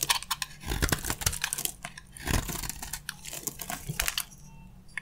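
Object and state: Dry soap bar, crunchy.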